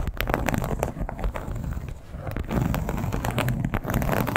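Long pointed nails tap and scratch across the textured surface of a flat, bright red crocodile-embossed leather clutch lying on a bedsheet. A dense stream of soft, quick taps and dry scratching rustles runs throughout, mostly low and muffled with brief brighter clicks. It eases slightly around the middle before picking back up.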